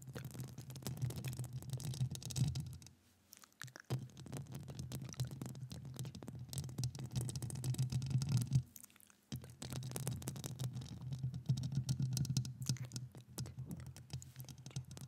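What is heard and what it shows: Long acrylic nails scratch and tap the hollow metal mesh grille of a microphone, giving a dense stream of rapid, irregular scratchy ticks over a heavy low hum. The sound drops out briefly around 3 to 4 seconds and again near 9 seconds before the scratching resumes.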